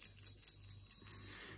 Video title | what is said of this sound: GIOIELLI PAZZESCHI 2024!!! Gioielli in Argento con PIETRE PREZIOSE • PEZZI UNICI • GIOIELLI MAGICI!! | il suono appunto Il tintinnio del campanello che c'è dentro del campanellino